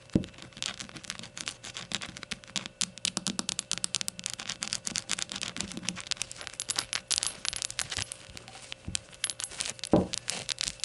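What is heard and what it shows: Long gold nails rapidly tap the glossy sides of a small, hollow, glazed ceramic rainbow shot glass resting on a towel. The result is a dense, continuous stream of bright, crisp clicks that die away almost at once, with a few louder knocks near the start and around the tenth second.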